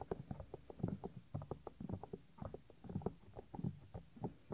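Fingers press, fold and rub the small, solid, white soft silicone ear of a 3Dio binaural microphone. The result is a quick, uneven stream of close, muffled thumps and soft rubbing bumps, heavy in the low end with nothing bright on top. Each bump dies away almost at once.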